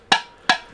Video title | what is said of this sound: Thrift Smarter, Not Harder – What Actually Sells on eBay - Video Compilation - Thrift with Me | when I'm tapping the lid, it's clanking against the jar part, where it meets the other ceramic